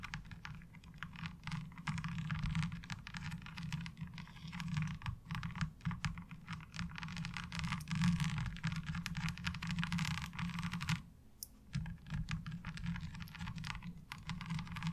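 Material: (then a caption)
Plastic. Long acrylic nails scratch across and tap the parallel ridges of a pale blue plastic laundry board lying ribbed side up. The result is a dense, continuous stream of fast clicking taps and rasping scrapes, broken by a brief lull around the eleven-second mark before the scratching resumes.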